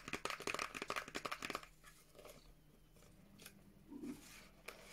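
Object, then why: Small paperboard box. Long nails tap a small teal printed paperboard Revolution Beauty moisture cream box, with the product inside, in a quick, uneven run of about thirteen crisp, bright clicks over the first second and a half. The tapping then gives way to quiet, dry scratching and faint crinkling along the surface, with a couple of soft ticks near the end.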